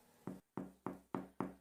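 Five knocks on the bottom of a freshly baked white-flour sourdough loaf give short, full, hollow thumps with a quick decay. The full, hollow sound shows the bread is well baked.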